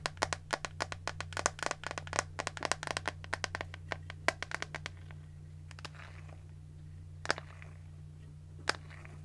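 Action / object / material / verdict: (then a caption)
tap / plastic hairbrush / plastic / none. Long nails tap the smooth back of a hand-sized pink plastic detangling hairbrush, making a rapid flurry of sharp, bright clicks for about five seconds over a steady low hum. The taps then thin out to a few isolated clicks, and the bristle side of the brush is shown at the end.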